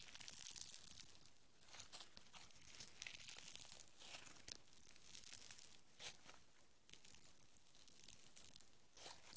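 Green foam bead clay is stretched into a long strand, then balled up and squeezed between the fingertips. It makes a quiet, steady stream of bright, crisp crackles, tearing and crinkling sounds, with sharp clicks that die away instantly over a soft low rumble.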